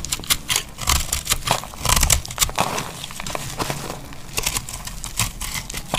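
A solid tan bar of dry laundry soap, held in hand, is shaved into curls with a metal utility knife blade. Dry scraping and cutting strokes produce a steady run of bright, crackly crinkling over a low rumble, with brief louder bursts as the blade bites in.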